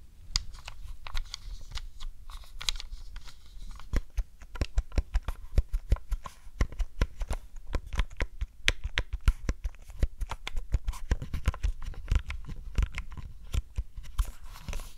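Long glittery nails tap and click on the colored face buttons, d-pad and shell of a hollow grey hard-plastic Nintendo 64 controller held over a fluffy rug. A rapid, uneven stream of short, dry plastic clicks and taps with a dull low body and almost no ring.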